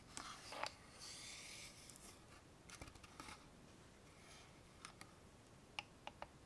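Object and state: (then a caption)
Wooden box tapped with fingernails. A small, hollow, dark-brown wooden box with a metal clasp on the front is held in both hands and tapped with long fingernails on its sides and front. Quiet, bright clicks and taps sound out, with a soft scratchy rub in between. A final group of three sharp taps comes near the end.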